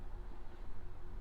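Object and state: Nothing is struck.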